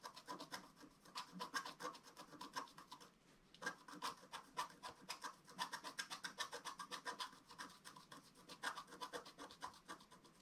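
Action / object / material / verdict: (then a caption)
scrape / black-coated scratch-art paper scratched with a wooden stylus / coated paper / none. A wooden stylus scratches a flat, black-coated scratch-art paper sheet in a steady run of dozens of quick, dry strokes. The rasping sound is bright and papery, with a brief pause near the three-second mark before the scratching resumes at a similar pace.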